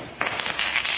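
An unused forged aluminium racing piston for a tuned 130cc four-stroke road-race engine is struck, without being dropped, in three taps. Each tap gives a clear, bright, high metallic ring that sustains for about half a second. The clean ring marks it as a hard forged competition piston in normal, sound condition.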